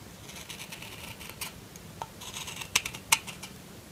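A solid lilac bar of soap, held in the hand, is scraped and shaved with the blade of a metal kitchen knife, taking off flakes. Soft, bright scratchy strokes come in a loose rhythm over a quiet hiss, with two sharper ticks near the end.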